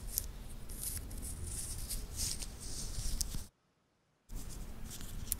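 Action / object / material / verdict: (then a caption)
scrape / titanium link watch bracelet / titanium / none. A small, solid wristwatch with a titanium link bracelet is held in the fingertips, and the links are flexed so they click and rub. Bright, crisp metallic clicks and rustling sit over a steady low rumble. The sound stops completely for almost a second, then resumes.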